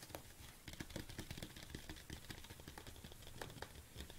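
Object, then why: Plastic supplement tub. Long nails tap quickly on the front and sides of a large red plastic BCAA supplement tub. The result is a quiet, rapid patter of dry, clicky taps with soft, hollow low thuds and bright ticks that die away almost at once, over a faint rustling background.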